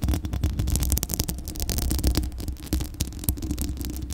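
Long glittery acrylic nails scratch across a hollow metal mesh microphone grille, producing a dense run of rapid scratchy crackles over a heavy, boomy low rumble. Sharp bright clicks flicker through the steady throbbing scrape.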